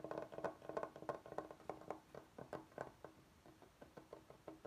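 Knuckles and fingertips knock and tap on a large, flat, solid bamboo cutting board with edge strips, held upright. About twenty quick, dry, hollow taps come in an uneven rhythm, each with a short woody tone near 660 Hz that dies away almost at once.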